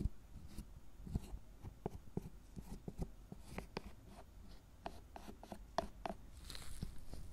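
A gloved hand scrapes and rubs the surface of a solid milk chocolate tablet covered in shavings with a wooden-handled metal carving tool. The result is a quiet, low, dull run of short scratchy scrapes and ticks, each dying away almost at once.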